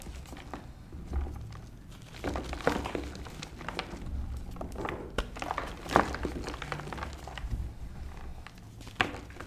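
Fingertips with short painted nails crush dry, brittle lumps of reformed white gym chalk (magnesium carbonate) with dried pink paste patches in a blue tray, rubbing the lumps into powder. Soft, dry crumbling and gritty rubbing run throughout, with a low rumble underneath and occasional sharper, brief cracks as pieces snap apart.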